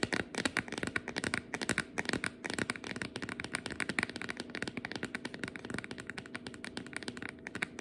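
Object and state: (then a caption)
Plastic food container with lid. Long nails tap and scratch the lid and sides of a clear, round plastic food container with a lid, partly filled with flour, sitting on a cutting board. A rapid, continuous stream of short, bright clicks and scrapes is heard, with no ringing after each tap.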